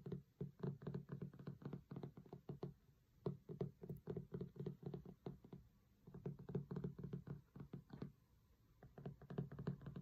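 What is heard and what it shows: Fingertips and nails tap and knock rapidly on the cloth cover of a large, closed hardcover cookbook with a solid thick board, resting on a marble table. The result is quick bursts of short, dull, low thuds with a brief tick on top, each dying away almost at once. The bursts are broken by a few short pauses.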